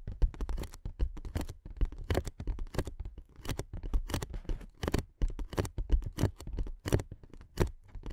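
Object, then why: Inflatable plastic air-column cushion. Long nails scratch and tap along the inflated ridges of a clear, hollow, air-filled plastic air-column cushion. A rapid, uneven run of soft, dull, low taps mixes with brief bright scratchy streaks. Each sound stops dry, with no ring.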